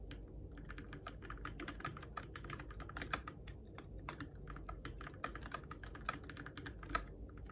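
Fingertips type steadily on a Keychron K6 compact RGB-backlit mechanical keyboard with plastic keycaps on switches, in the dark. Quick, short clacks with a bright click around 1.3 kHz follow one another in an even, continuous run, with a few louder strikes standing out. A steady low rumble sits underneath throughout.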